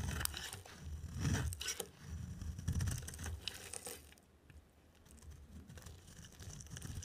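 A dry, solid oval soap bar, white inside with a green rim, is held in the hand and shaved with a utility knife blade. Each stroke gives a dry, crunchy scrape with bright crackling over a low rumble, in irregular bursts that fade to a quieter, fine rasp toward the end.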